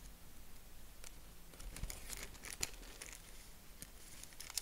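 A purple tissue-paper honeycomb, folded flat, is stretched open and scrunched with fingers. Soft, bright crinkling and papery crackles run throughout, with a few sharper snaps standing out over a quiet, low background rumble.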